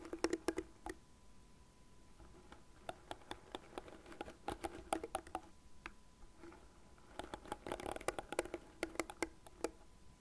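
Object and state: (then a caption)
Plastic hairbrush tapped with nails. A light blue plastic cat-shaped hairbrush is held on a desk while long nails scratch and tap its plastic frame and bristle side. Quick, dry clicks and scratchy taps come in uneven bursts with short quiet gaps, each tap sharp with almost no ring. A faint steady tone hums underneath.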